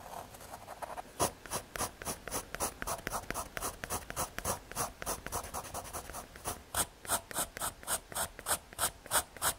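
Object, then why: Graphite pencil on thin fiberboard. A graphite pencil scratches lines and details onto a small square of thin, solid brown MDF fiberboard, making a rapid series of short, dry, bright scratching strokes at roughly three per second. The strokes are irregular at first and become more evenly spaced and distinct toward the end.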